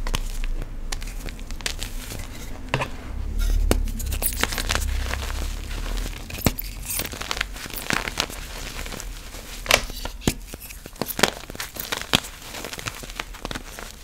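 Bare fingertips with painted nails squeeze, crumble and rub a large heap of loose, dry purple and yellow powdered gym chalk (magnesium carbonate) in a white box, with a broken chalk block at the edge. Dense, dry crunching and crinkling fills the clip, with sharp bright crackles standing out over a soft low rumble.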